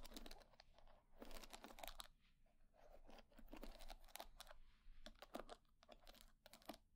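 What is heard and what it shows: Long nails scratch and flick through the wooden pin bristles of a wooden hair brush. The result is quiet, dry crackling and rapid bright ticking clicks that come in uneven clusters, with short scratchy bursts in between.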